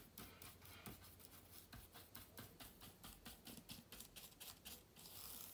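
A small soft-bristled brush, held in the fingers, is swept across the keyboard of a silver Acer laptop with plastic keys set in an aluminium body. Quiet, bright, hissy brushing strokes repeat in a loose, uneven rhythm of roughly one and a half per second, with a faint rustle underneath and no ring after each stroke.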